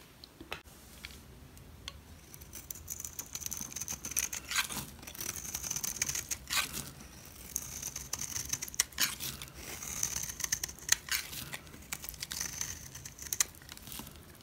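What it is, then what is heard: Dry soap bar being sliced. A blade cuts thin slices into a solid yellow rectangular Smyrna soap bar held in the palm. It makes dry, crisp crackling and scraping with a thin, high whistling tone through each stroke. The repeated strokes come in bursts over quiet, close background noise.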